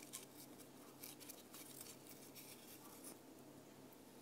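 A thin laser-cut plywood disc ornament with a deer design is held in the hand while long painted nails scratch and tap along the wood. Quiet, dry scratching rustles with brief bright ticks from the taps over a low, steady background hum.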